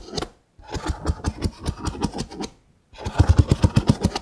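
Fingertips and nails scratch and tap the ridged rims of a nested stack of hollow, empty brown kraft paper cups. The result is a run of quick, low, dull taps with a scratchy edge. The taps pause briefly near the start and for a longer gap in the middle before resuming.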